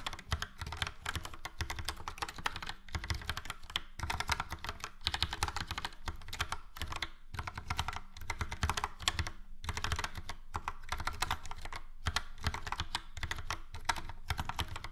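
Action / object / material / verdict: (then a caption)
tap / plastic mechanical keyboard / plastic / none. Fingertips of both hands type on a full-size plastic mechanical keyboard, a Logitech POP Keys with a yellow frame and round dark grey and light grey typewriter-style keycaps. Quick, continuous keystrokes each give a short, dry clack with a deep thock underneath and bright clicky edges, broken by a few brief pauses.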